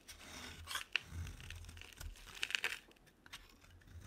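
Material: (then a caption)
Soap. A solid, hand-sized, dry white bar soap held in the hand is scraped with a metal utility knife blade, shaving it into fine shavings. Dry, bright scraping and crunching strokes mix with sharp, short clicks, with little low-end body and almost no ring.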